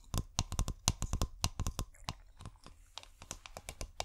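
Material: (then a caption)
Glass. Long painted nails tap rapidly on a clear, hollow, bulb-shaped glass bottle with fairy lights inside. The taps are short, sharp clicks with a low knock and a bright tick, dying away almost instantly, with faint crinkly rustling between them.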